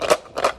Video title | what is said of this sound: Science with Ilana! | this is a big seed pod and if i shake it you can hear the seeds on the inside right